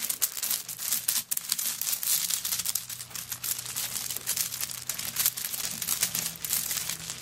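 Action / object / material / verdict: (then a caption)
scrape / handbag covered in coconut shell chips / coconut shell / none. Long nails scratch across a handbag covered in coconut shell chips that is lying on a table. The result is a dense, bright, crackly scraping made of rapid tiny clicks, with almost no low end, running continuously for about seven seconds.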